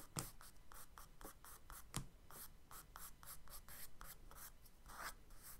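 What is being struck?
Charcoal stick on kraft paper sketchbook page.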